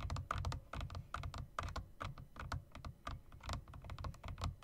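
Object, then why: Mechanical keyboard with round plastic keycaps and metal rims. Fingertips rapidly tap the long spacebar and bottom-row keys of a typewriter-style mechanical keyboard with round plastic keycaps and metal rims. The result is a fast, uneven run of short clicks, each with a deep thumpy body and a brief clacking tone around 1.2 kHz that dies away almost at once.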